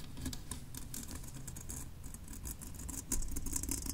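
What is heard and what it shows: Long nails tap and scratch the painted shell of a hollow, olive-drab steel M1 helmet resting on a desk. Quick, irregular light taps and scrapes give bright, dry clicks over a steady low rumble, growing slightly louder toward the end.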